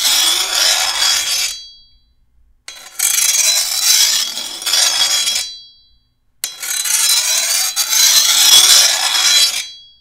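A rusty metal file is stroked by hand along the edge of a long steel machete blade near the tip. The result is three long, bright, hissing scrapes separated by short silences, with a faint metallic ringing tone around 3.4 kHz and almost no low end.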